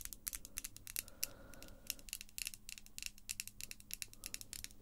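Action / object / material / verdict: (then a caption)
tap / acrylic false nails / acrylic / none. Long glossy pink acrylic false nails are tapped by other long nails, the small, solid, hard plastic tips clicking together. A quick, irregular run of sharp, bright clicks dies away almost instantly, over a faint low hum and a brief soft tone near the middle.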